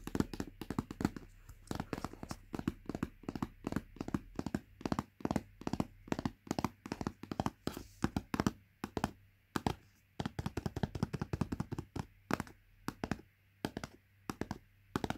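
Long nails tap rapidly on the translucent plastic lid and sides of a sealed Greggs porridge pot, a paper-wrapped plastic cup. The taps are short, dull, hollow clicks with mostly low and mid body and little brightness, each dying away almost instantly. They come in quick bursts with brief pauses between them.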